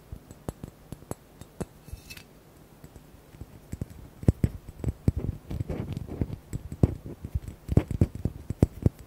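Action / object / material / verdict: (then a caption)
tap / large square glass bottle / glass / none. Fingernails tap rapidly on the bottom and sides of a large, hollow, square blue glass bottle held at a tilt. The taps are short, dull knocks with a low-heavy body and almost no ring, scattered irregularly and growing denser and louder in the second half over a faint low background hum.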